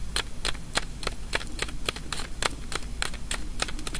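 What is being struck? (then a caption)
Small wafer candy ball. A small white hollow wafer ball, a kamifusen sweet filled with jelly, is held in the fingers while long nails tap and scratch its surface. About 18 quick, crisp, dry clicks ring bright and die almost instantly, spaced in a steady rhythm over a low, soft rumble.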